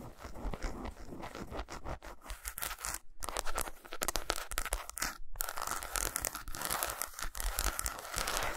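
An unwrapped solid milk chocolate bar with segmented squares, lying on a towel, is scratched and tapped with long pointed acrylic nails. The result is a dense, fast stream of crisp, crackly scratches and short clicking taps with a bright edge and a low thump underneath, broken by brief pauses around the third and fifth seconds.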